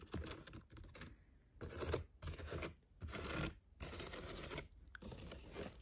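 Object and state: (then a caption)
Woven seagrass basket scratched. Long painted fingernails scratch across the woven surface of a large hollow picnic basket made of seagrass or water hyacinth, with leather straps and brass studs. The result is bursts of dry, rustling, crackly scratching separated by brief pauses, with a low hollow undertone from the basket.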